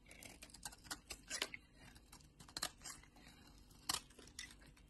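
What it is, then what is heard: Bar soap being shaved. A utility knife blade shaves the surface of a solid pink bar of soap held in the palm, peeling off thick curls. Quiet, crisp scraping strokes come in short bright bursts over a faint low background, each stroke dying away almost at once.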